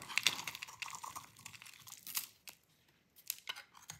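A metal utility blade held in the fingers shaves a solid oval bar of dry cream-white soap, and crumbly shavings pile below. The result is a quiet run of crisp, bright scraping and crunching strokes, each short and dry with almost no low end. A brief silence falls midway before a few more shaves.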